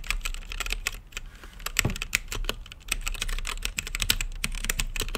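Fingertips type quickly on a mechanical keyboard with plastic keycaps and a clear acrylic lit case. Dense, bright clacky key clicks come in uneven bursts, each dying out almost instantly, over a steady low rumble.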